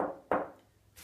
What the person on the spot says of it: it has a quite a nice tap tone for mahogany this is pretty dense mahogany but you can hear that it's not super bright